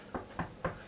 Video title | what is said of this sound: Homemade Bread from Scratch | it sounds hollow inside which means it cooked all the way through